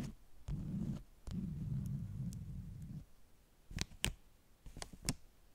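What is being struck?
Stack of beeswax-coated cotton wraps.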